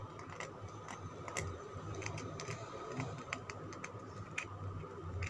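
Fingernails tap and scratch a palm-sized, solid green Lux soap bar held in the hand, its surface already scraped. About sixteen short, dry clicks with bright edges sound over a soft scratching texture, with a steady faint tone near 1.25 kHz and a low rumble underneath.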